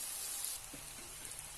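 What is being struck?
Nothing is struck.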